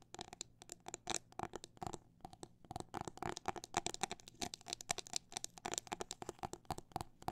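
Long black nails tap and scratch an empty clear hard plastic phone case filled with liquid glitter and fitted with a metal ring holder. The result is a quiet run of quick, dry clicks and scratches that vary between fast and slow, with short bright transients and a steady tone around 715 Hz.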